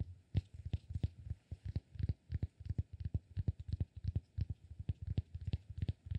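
Fingertips tap and scratch the face of a palm-sized, solid cork block. Quick, irregular soft taps land about three times a second, each a dull, muffled low thud that dies away almost instantly, with faint scratchy texture between them.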